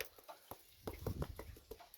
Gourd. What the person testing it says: sounds like a flat red rubber ball